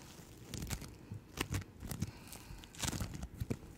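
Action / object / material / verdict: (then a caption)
scrape / slime with foam beads / slime / none. Yellow-green floam bead slime is held in both hands and squished and stretched by fingertips with long nails. Quiet, sticky crackling and popping bursts come in irregular clusters, with bright, sharp clicks over a soft, low-heavy squelch.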